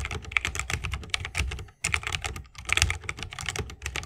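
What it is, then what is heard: Mechanical keyboard with bamboo case, typing. Both hands type continuously with the fingertips on a 60% mechanical keyboard with Holy Panda switches, a bamboo case and plastic keycaps. Rapid, crisp clacks combine a bright click around 2.3 kHz with a dull low thump, each dying away almost instantly. A brief pause falls just before the two-second mark.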